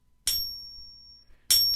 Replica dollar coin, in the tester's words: that actually doesn't sound too bad to be honest with you